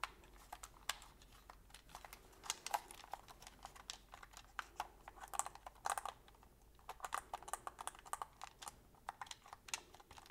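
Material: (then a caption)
Plastic. A black, hollow, handheld Sony PlayStation controller made of hard plastic is held in both hands while thumbs and fingertips repeatedly press and click its buttons and sticks. The result is a quiet, rapid run of short, dry plastic clicks and taps with a bright edge and no ring, bunching into quick bursts throughout.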